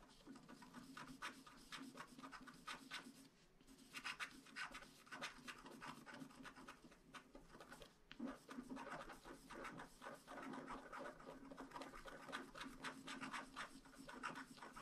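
A wooden stylus scratches the black wax coating off a flat paper scratch-art card, exposing the colourful layer beneath, while one hand holds the card down. Quiet, dry, bright scraping comes in quick, short strokes that follow one another almost continuously, with a brief lull near the four-second mark. A faint steady low hum sits underneath.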